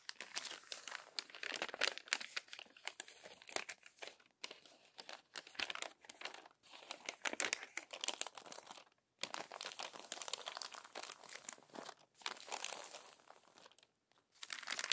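Wrinkled glossy magazine pages are pressed flat with palms and long-nailed fingers, smoothed and rubbed. Bright, dense crinkling and crackling comes in bursts separated by brief silences, with no low end.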